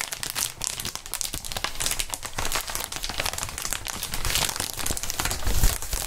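Fingertips squeeze and crinkle a large, clear, inflated plastic air column cushion wrap sheet. The result is dense, continuous crinkling made of bright, crackly bursts over a low, soft rumble, with the handling swelling louder in waves toward the end.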